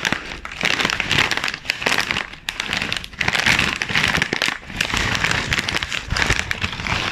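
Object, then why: Plastic foil chip bag. A sealed, medium-sized Twister chips bag of glossy plastic/foil film, puffed and full of chips, is rubbed, squeezed and crinkled by black-gloved fingertips and palms, then turned on its side. It gives a dense, continuous crackling crinkle that is bright and crisp, centered around 2.6 kHz. The sound swells and dips in waves with brief quieter gaps between handling motions.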